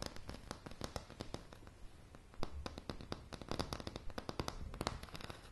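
Long polished fingernails tap rapidly and irregularly on a light, solid wooden plank floor, recorded close-up. Each tap is a sharp, dry click with a soft low thump and almost no ring, building into a crackling, uneven patter.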